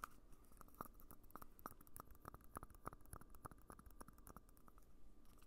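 Fingertips tap and scratch a small, empty red hollow plastic party cup held in one hand near the microphone. Quiet, quick taps each give a short, dry tick with a faint pinging tone around 1.2 kHz and a bright edge. Soft scratching fills the gaps between them.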